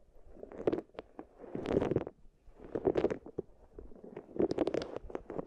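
Long-nailed fingers press, rub and roll solid wooden balls inside two small wooden bowls. The result is dense, clattering bursts of wooden clicks and rolling rattles, centered in the low-mid range with sharp, bright ticks on top, rising and falling in four louder waves over a quiet, dry background.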